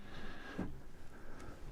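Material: Nothing is struck.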